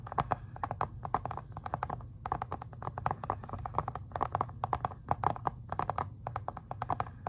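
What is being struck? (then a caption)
Plastic video game case. Fingernails tap and scratch across the front and then the back of a plastic Xbox 360 game case. The result is a steady run of quick, dry clicks, each with a mid-pitched knock around 800 Hz and a bright edge, over a low rumbling bed, in small bursts for about seven seconds.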